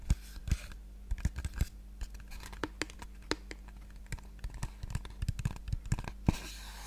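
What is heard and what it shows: A small hollow pink cardboard box, held in one hand, is tapped rapidly with the long painted nails of the other hand. The taps come as many short, dry clicks at an uneven pace that die away almost instantly, over a steady low hum. A soft brighter rustle follows near the end.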